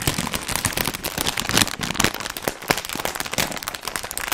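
A medium, sealed Funny-frisch crisp bag made of plastic foil and full of crisps is held in the hands and crinkled and squeezed with the fingers in front of the mic. Dense, bright crackling comes in rapid sharp bursts with little low end, and the crisps inside add a brittle rustle throughout.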